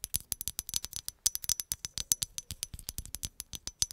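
A hollow green glass bottle is scratched and tapped with long acrylic nails, making a rapid, steady run of short, bright clicks. Each hit is crisp and dry, with a faint high glassy ring, and the taps come at an uneven but quick pace throughout.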